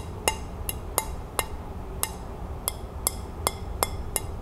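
Long nails tap and scratch the underside of a white ceramic dinner plate held by hand. Ten short, bright clicks ring around 805 Hz with high overtones and die away almost instantly over a faint low rumble.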